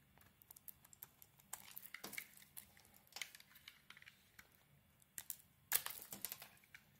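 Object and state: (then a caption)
Bar of soap being carved. A wide utility knife blade carves and scrapes a handheld solid oval bar of soap with a purple and glitter coating over a cream interior. The sound is quiet, crisp, bright scraping and crinkly crunching in short bursts, with a louder cluster of cuts near the end.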